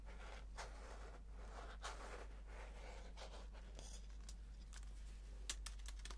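Fingernails scratch and tap the aluminum underside of a slim white wireless keyboard held in the hands, then fingertips type on its plastic keys. Soft, broad scratching swells give way to short, bright taps and key clicks over a low steady hum.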